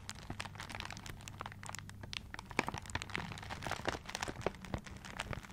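Fingertips and nails scratch and crinkle the wrapping paper of a paper-wrapped gift held close to the mic. Dense, quick, dry crackles and rustles with bright crisp edges sound over a faint steady low hum, each scratch stopping short with no ring.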